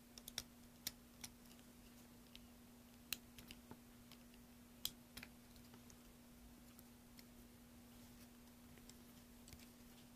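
A metal carving blade scrapes and shaves the surface of a solid green soap block held in a hand with dark-painted nails, over a pile of soap shavings. Quiet, sharp, bright clicks and crackles come in scattered bursts, heaviest in the first half, over a faint steady low hum.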